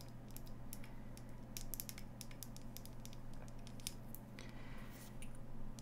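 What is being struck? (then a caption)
Ceramic salt shaker. A small, hollow, glossy green ceramic salt shaker shaped like an avocado, with holes on top, is held in one hand while long nails tap and scratch its surface. Quick, light, bright clicks and scraping ticks come in uneven bursts over a steady low hum.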